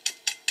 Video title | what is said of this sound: iMug BBC Wiltshire Interview | because it's empty if I tap it now it sounds like that